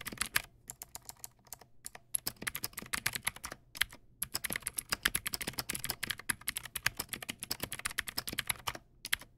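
Fingertips type steadily on a Teamwolf Zhuque+ X08 backlit mechanical keyboard with white plastic keycaps and clicky blue switches. It makes a fast, uneven stream of sharp, bright clicks with only a faint low thump beneath them. Each keystroke stops almost instantly, with short pauses between bursts of typing.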